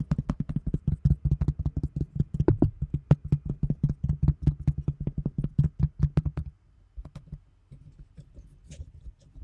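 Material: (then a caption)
Plastic. Long nails rapidly tap and scratch a large, round, thin translucent plastic container lid held in front of a microphone. A quick, uneven run of dry, hollow taps with a low thump near 145 Hz and faint bright clicks fills the first six and a half seconds. It then drops to quieter, sparser taps and soft scratching.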